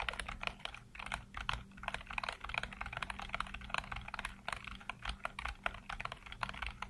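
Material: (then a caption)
Plastic. Fingertips type rapidly across a full-size black plastic computer keyboard with hollow keycaps, heard up close. The keys give a steady stream of short, crisp, clacky taps with a bright edge and very little ring, over a faint low hum.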